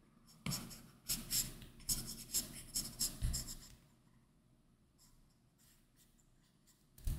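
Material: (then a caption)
Plastic film. An Apple Pencil's plastic tip draws continuous inking strokes across a large, flat iPad Pro glass screen covered with a matte Paperlike plastic film. Quick, bright scratchy strokes with a soft low thud underneath come in a busy run over the first four seconds. They fade to faint, sparse scratching, and one louder stroke lands at the end.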